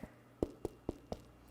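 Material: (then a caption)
Bread. Four short, dull taps on a fully cooled gluten-free focaccia give a hollow, low-mid knock that dies away almost instantly. The hollow sound means the bread is baked through.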